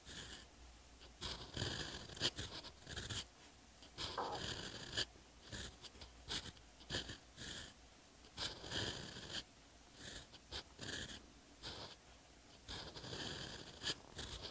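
A steel Twsbi Eco EF fountain pen nib writes Korean characters in ink on a lined paper page of a hardcover notebook, scratching across the flat, solid page in short strokes. The result is a series of crisp, bright scratching bursts with brief pauses between them and quiet, dry decays.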